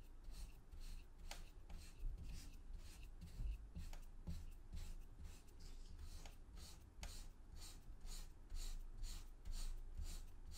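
A small yellow plastic rake held in the fingers is dragged repeatedly through a flat, solid, damp-looking mound of purple kinetic sand on a grey tray, raking grooves into it. Each stroke makes a soft, gritty scratching rasp with a bright, hissy edge, repeating at a steady, unhurried pace over a faint low rumble.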